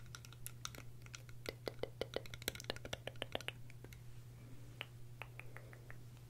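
Long red-painted nails tap and scratch along a pair of small, hollow, translucent green plastic eyeglass frames with lenses, held in both hands off the face. Quick, sharp clicks and light scrapes sound along the frames and temples over a steady low hum.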